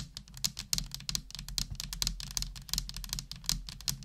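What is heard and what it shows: A full-size black plastic computer keyboard with hollow plastic keys is typed on continuously with the long nails of one hand. Rapid, bright, clacky key taps come in an uneven stream, each short and dry, over a steady low hum.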